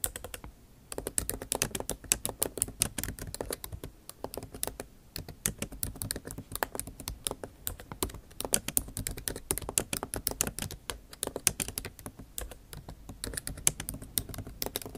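Long nail tips type rapidly on a backlit MacBook Pro keyboard with plastic keycaps set in an aluminum body. After a brief quiet start, dense, bright, sharp clicks and taps follow one another steadily, each dying away almost instantly over a faint low hum.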